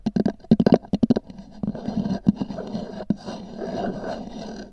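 Long nails tap and scratch the top of a small, hollow, black oval hard-shell EVA zip case with a textured fabric cover, resting on a fur rug. A quick run of crisp, hollow taps in the first second gives way to a continuous dry scratching and scraping over the textured surface.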